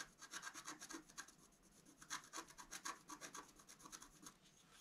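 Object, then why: Black-coated scratch-art card scraped with a wooden stylus. A wooden stylus scratches the coating near the top left of a flat black-coated scratch-art card held down by the left hand. It makes a quiet, rapid series of short, dry, bright rasping strokes with almost no low end and no ring after each stroke.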